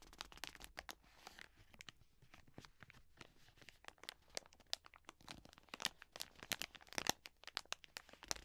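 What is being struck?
Soft plastic wet wipes packet.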